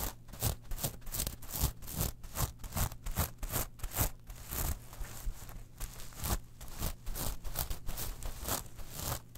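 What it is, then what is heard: Metal mesh pouch. Long nails rub and scratch a small gold, silver and black metal mesh clutch pouch as it is picked up and turned in the hands. Quick, bright, gritty scrapes come in an irregular, fairly busy rhythm, with rustling handling noise over a steady low hum.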